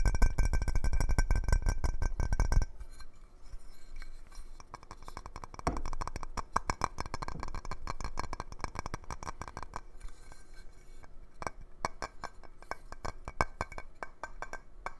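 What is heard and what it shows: A large clear glass jar lid with a knob handle is held in the hands and tapped quickly with the fingertips and nails, giving ringing glass clinks. A loud, dense, low rumble fills the first few seconds, then the taps continue as a rapid, uneven stream of light, bright clicks and clinks.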